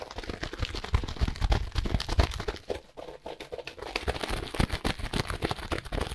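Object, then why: Compressed hay block in plastic wrap. Gloved fingers squeeze and scratch a solid, brick-sized compressed block of dry hay wrapped in clear plastic. The result is a dense, rapid run of crinkling and scratchy rustles with heavy low thumps. The sound eases into a quieter stretch around the middle, then picks back up.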